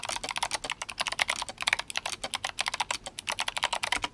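Fingertips of both hands type steadily on a compact RGB-backlit GMMK Compact mechanical keyboard with Kailh Box White switches and plastic SA keycaps. A rapid, even run of separate, crisp clicky keystrokes is heard, each sharp, bright and clacky, centered around 2 kHz with almost no low end and no ring after each press.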